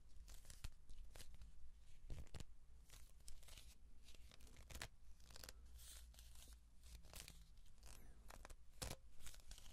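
Hands rub and twist along a hollow cardboard tube with an open end, held horizontally. The result is a rapid series of dry, scratchy, tearing-like rasps with bright crackly bursts over a steady low rumble. The sound is quiet and close, with no ring after each scrape.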